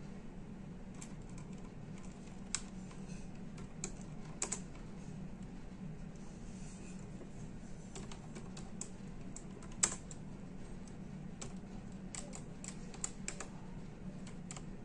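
Fingertips of both hands type on the plastic keys of a full-size plastic computer keyboard. Quiet, short, bright clicks and taps come in an irregular stream, with a few sharper keystrokes standing out, over a steady low hum. Each click stops almost at once, with no ring.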